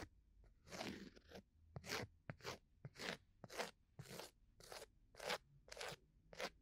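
A round, flat, solid cork coaster is held at the right ear of a microphone and scratched with a bamboo ear pick. Twelve dry, crunchy scratching strokes come at roughly one per second, each a bright, broadband rasp with quiet gaps between.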